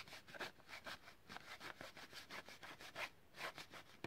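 Fingernails rub and scratch a long, hollow blister pack for a blue utility lighter, a clear plastic shell on a yellow card, while it is held in both hands. Repeated dry, bright scratching strokes rise and fall in quick succession, with a faint hollow resonance and little low end.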